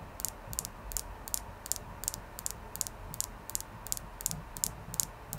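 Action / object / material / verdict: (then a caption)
tap / clear quartz crystal / quartz / none. A clear quartz crystal is tapped in a steady, rapid series of light, dry clicks. Each tap is short and bright with almost no ring, over a faint low background hiss.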